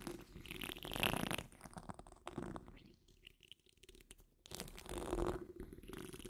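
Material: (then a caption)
Steel mesh. Long nail tips of the curled fingers of both hands scratch across the rounded, hollow steel wire-mesh grille of a large condenser microphone. Dense, rasping scratches swell to a loud, bright peak near the first second, fade to faint scraping, then surge again in a second thick burst before easing off.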